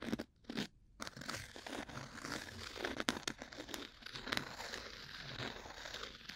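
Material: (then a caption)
Cork. A thin, solid, round cork coaster held upright next to the mic is scratched with two bamboo ear picks held together in repeated strokes. The result is a dry, crunchy, crinkling scrape with bright, airy texture. Brief pauses break it near the start, then it runs as a near-continuous rasp.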